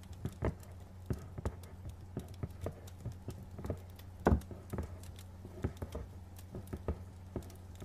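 Fingernails tap quickly over the faces of a medium, hollow, printed cardboard retail box. The taps land in an uneven, pattering rhythm, each a short, dull, low-pitched knock that dies away almost at once, over a steady low hum.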